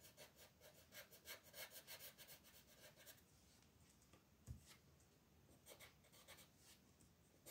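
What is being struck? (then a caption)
Wooden colored pencil on a paper coloring page. A blue wooden colored pencil scratches and shades small areas of a flat paper coloring book page in repeated quick strokes while the other hand holds the page. For the first three seconds the strokes come as a steady run of bright, papery rasps. After that the sound thins to a quieter scratchy hiss with one sharper tap, and then a few more shading strokes follow.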